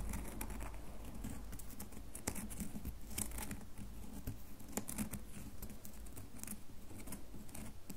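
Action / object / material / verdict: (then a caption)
scrape / bar of soap / soap / none. A solid red bar of soap is held in one hand and scratched and tapped with the long fingernails of the other hand. The result is a quiet, steady patter of soft scratching and brief, dry taps with almost no ring, over a low, faint rumble.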